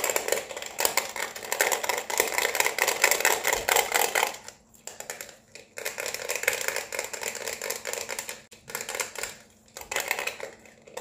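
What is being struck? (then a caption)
Plastic LED neon lamp with hollow base. An LED neon flamingo lamp with a hollow white plastic base, held in the hands, is tapped rapidly with long red-painted nails on the base and tube. Fast, dense clicking taps go on in bursts with brief pauses between them, bright and crisp with a short ring.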